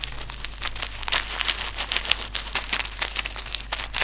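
A small white silica gel desiccant sachet filled with silica beads is crumpled, crinkled and rubbed between fingers. The result is dense, bright crinkling with quick crackly bursts over a faint steady low hum.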